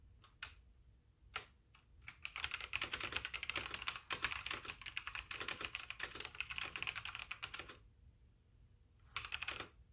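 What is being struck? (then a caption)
Plastic mechanical keyboard. Both hands type with their fingertips on a full-size white backlit mechanical keyboard with plastic keycaps, resting on a wooden desk, while the mouse sits unused. A few separate clicks open the clip, followed by a dense run of fast, bright, clacky keystrokes. After a short pause, a final brief burst of typing ends it.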